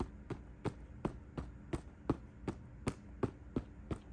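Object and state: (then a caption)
Quilted faux leather handbag. Fingertips tap on the embossed quilted front panel of a closed cream quilted faux leather handbag lying on a bed. Eleven soft, dull, low thuds land at a steady pace of about three per second, each dying away almost at once over a quiet background hum.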